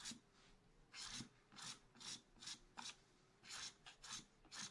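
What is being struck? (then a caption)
Black-coated scratch art card scraped with a wooden stylus. A wooden stylus scratches long curved strokes across black-coated scratch art paper in a spiral pad resting on a table. Ten separate bright, raspy scraping strokes are heard, each a short hiss with little low end and a brief tail, with quiet pauses between them.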